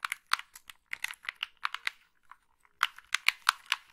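Long nails tap, click the buttons and scratch across the casing of a hollow black plastic gamepad. The result is a run of sharp, dry, bright clicks and taps with no ring. A short quiet gap falls in the middle before the tapping picks up again.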